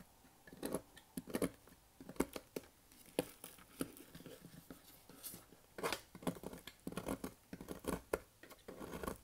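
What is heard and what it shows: A bare hand squeezes and crushes a pile of loose, brittle, dry green and white soap shavings on a white surface. Quick, dry crunching and crumbling bursts with a bright crackle come in irregular bunches, each dying away almost at once.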